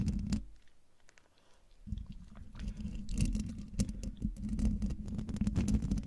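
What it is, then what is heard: Metal mesh microphone grille being scratched. Long dark nails scratch the hollow domed metal mesh grille of a silver Blue Yeti microphone, giving a dense, rough scraping with a heavy low rumble and fast uneven taps. After a short louder start the sound drops almost to quiet for about a second, then returns and keeps going in irregular scratchy bursts.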